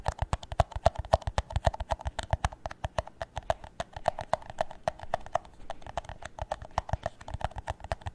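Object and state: Empty plastic cup tapped with nails.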